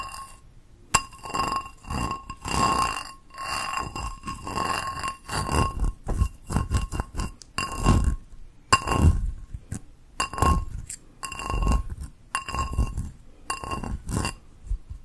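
Long nails tap the rim and textured outside of an empty, hollow teal ceramic bowl. The result is a series of irregular, bright clinking taps with a faint ringing tone near 1 kHz that stops quickly.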